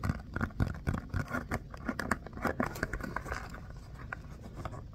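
Fingertips and nails tap and scratch the bumpy surface of a small orange pebble-textured rubber mini basketball with black seams, held close. The result is a quick, irregular run of dull, low thumps mixed with soft scratchy rasps, each dying away at once with no ring.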